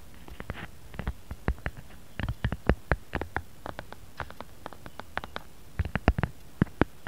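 Fingertips and short nails tap rapidly on the back of a smartphone in a brown-grey matte silicone case with a bear print, lying flat on a mat. Each tap is a short, dull, low thud with a faint click that dies away almost instantly. The taps come in an irregular, playful series with brief pauses between bursts.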